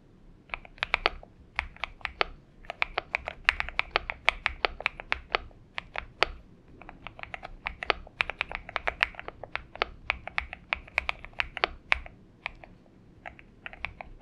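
Both hands type continuously with their fingertips on a purple-backlit Xinmeng M71 70% mechanical keyboard with an aluminum case, PBT keycaps and lubed switches, resting on a desk mat. A steady stream of short, crisp clacks, bright and light on low end, each dying away almost instantly, with brief pauses between bursts of typing.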